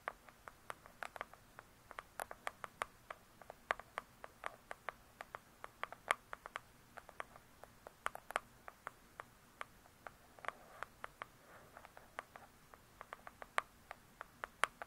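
Long pointed nails tap quickly on the printed laminated cover of a large hardcover True Crime book. About 56 sharp, dry clicks in irregular quick bursts, each dying away almost instantly with a bright tone around 1 kHz. The clicks are quiet against a faint, steady background hiss.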